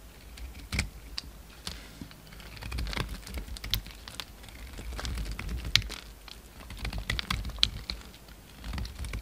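A hand-held solid cream bar soap is carved, scraped and shaved with a utility knife blade. Soft, dry scraping strokes come with sharp, clicky cuts that sound bright and crisp. The short taps and shaving swells fall at an uneven pace.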